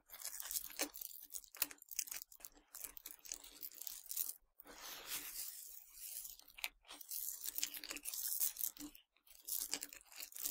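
Fingertips with long dark nails pinch, crunch and scratch through a pile of tiny hard Nerds sugar candies on a black surface. The result is dense, bright, quiet crackling and crunching in continuous bursts, separated by a few brief silent gaps.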